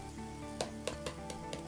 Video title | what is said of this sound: Making Bannock | when you tap it, you get quite a hollow dirty noise. That's really the best way to test whether it's ready or not.